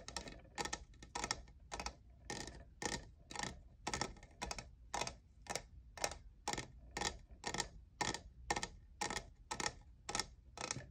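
Fingertips and nails tap the faceted side of a tall, hollow, lavender plastic studded and jeweled tumbler that appears empty. Quick, dry, bright clicks come in short clustered bursts at a steady pace of about two per second, each dying away almost instantly over a faint low hum.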